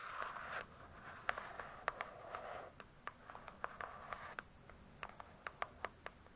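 Long nails scratch and tap the glossy cardboard cover of a large closed hardcover book. Soft scraping passes alternate with sharp, short taps that carry a bright edge, concentrated in the midrange around 1.5 kHz and heard in a quiet setting.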